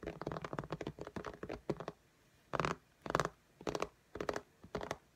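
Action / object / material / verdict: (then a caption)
tap / glass tablet screen / glass / none. An iPad in a pink case lies flat while both hands tap its glass screen with long fingernail tips in fast alternating taps. The first two seconds are a rapid, uneven flurry of crisp clicky taps. After a short quiet gap, a few separate bursts of brighter, clustered tapping follow.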